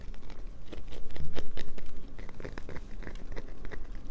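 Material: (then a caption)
Soap. A solid light-blue bar of soap is held and scratched with long nails, with the shavings piling up on a paper towel. Quick, dry scratching and crunching strokes repeat in a rough rhythm, growing louder in the first half and then easing to a softer, steady scraping.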